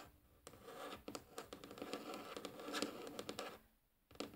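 Long polished nails scratch and tap on a light, solid wooden tabletop. Soft, dry rasping scratches run under sharp little taps with a bright edge. The sound drops to near silence just before the end, then a final tap and scratch return.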